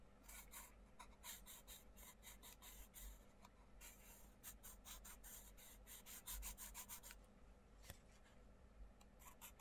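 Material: Paper.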